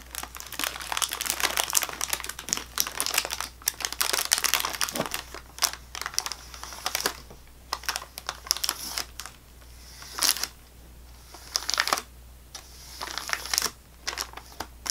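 Fingertips and nails tap and scratch the top and ends of a full sleeve of saltine crackers in thin plastic wrap resting on a table. The result is a dense run of bright, crinkly taps and scratches with quick, dry decays. Quieter pauses break up the sound, and a low steady hum sits underneath throughout.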